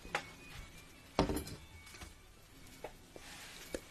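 Small melamine bowls are tapped close to a microphone, giving a few short, dull taps spaced across the clip. Each tap dies away almost at once, and the second is the loudest and fullest. Soft background noise fills the gaps between taps.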